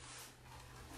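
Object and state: Nothing is struck.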